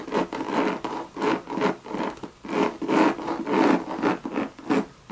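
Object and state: Coated canvas and leather handbag.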